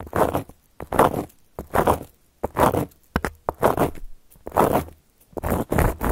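Long gold filigree metal claw nails scratch across a round, flat, solid cork coaster. Dry, rough scratching strokes come in separate bursts with brief quiet gaps, each a broadband rasp strongest in the mid range with a bright, airy top.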